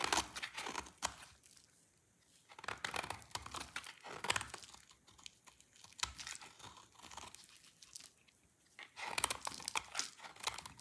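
A partly carved, dry pale lilac soap bar held in the hand is cut with a yellow-handled utility knife. Bursts of crisp, bright crunching and tearing scrapes come in clusters, broken by short quiet pauses between strokes.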